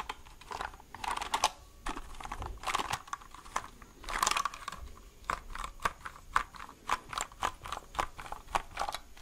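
A white plastic mechanical keyboard, held upright, has its hollow plastic case and keys tapped with fingertips and nails. The result is a run of quick, dry clicks and clacks with a hollow plastic tone around 1 kHz and bright edges. The taps start in dense clusters and settle into a steadier, evenly spaced pattern, each dying away almost at once.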